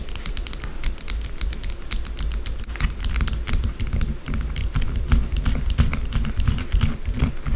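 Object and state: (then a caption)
Bar of soap scratched with nails. Long blue acrylic nails scratch fast and hard across a small, solid white bar of soap resting on a dark table. The result is a dense, irregular stream of crisp, bright clicks and scrapes over a steady low rumble.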